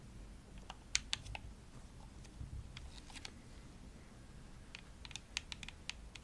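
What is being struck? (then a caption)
Plastic game controller shell. Long nails tap the shell of a hollow, pink glossy plastic Xbox controller, making about 14 sharp, dry, bright clicks in scattered bursts. Each tap dies away instantly with no ring, over a soft, steady low rumble.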